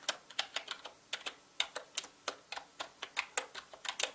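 Fingertips type fast on a full-size black mechanical gaming keyboard with plastic keycaps and a hollow body. About twenty quick, bright, clacky keystrokes sound in an irregular rhythm, each dying away almost instantly with little low end.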